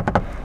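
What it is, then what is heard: Hard plastic car door trim. Three hollow knocks on the hard plastic interior door trim of a 2021 MG ZS, each a short dull tap with a brief mid-range click and almost no ring. The trim sounds cheap and hollow, and the material should be upgraded, since even Japanese B-segment sedans do better.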